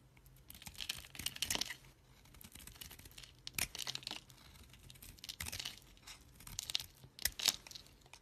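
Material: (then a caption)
Soap. A solid green bar of soap, held in a hand with long dark nails, is shaved and scraped with a kitchen knife, and curls and shavings come off the surface. The result is bursts of dry, crisp scraping and crumbly crunching, mostly bright and high, with short sharp scrapes separated by quieter gaps.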